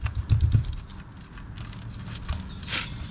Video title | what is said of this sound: CAN U BELIEVE THE COPART BMW IS STILL GOING?!?! | i hear it sounds hollow it's coming loose